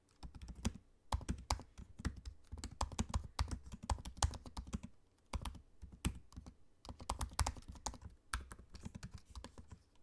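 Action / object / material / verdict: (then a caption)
tap / laptop keyboard with low-profile plastic keys / plastic / none. Fingertips of both hands type on the low-profile black plastic keys of a space-grey aluminium laptop. Quick runs of soft, dull clicking taps with a low thud to each keystroke come in bursts, separated by brief pauses.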